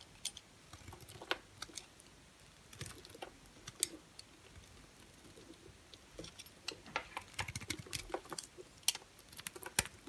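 An orange and cream striped bar soap is carved with a utility knife blade, giving quick, dry, crisp scraping clicks and crackles. The short, bright snaps come in uneven bursts, sparse at first and denser toward the end, with very little low end and almost no ring.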